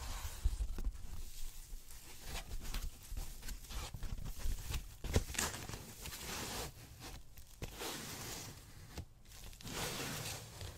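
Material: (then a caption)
Polyethylene foam. A large, soft, thin white ribbed polyethylene foam packaging sheet is rubbed and squeezed with fingertips and palms on a desk. Continuous crinkly, tearing-like rustles with bright hiss and a low thumpy undertone rise and fall over about eleven seconds, with several sharper crunches standing out.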